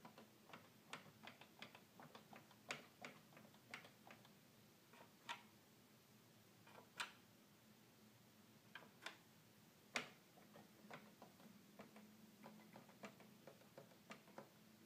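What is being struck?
Plastic toy keyboard.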